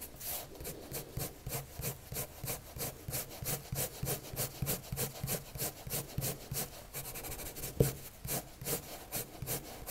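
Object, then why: Pencil scratching on a paper drawing sheet. A colored pencil tip scratches and rubs across a white paper sheet on a table in dense, quick shading strokes. About 26 short, evenly paced scratchy strokes, each a dry broadband rasp with bright, hissy tops, with one slightly louder stroke near the end.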